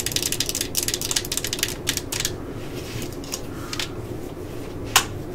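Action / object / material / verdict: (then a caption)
tap / plastic cordless drill housing / plastic / none. Long nails tap and scratch the hollow plastic housing and collar of a yellow and black plastic cordless drill, first resting on a table and then held. Quick, bright, clicky taps cluster in the first two seconds, then give way to softer scratching and scattered taps over a low, steady background rumble. One sharper, louder tap lands near the end.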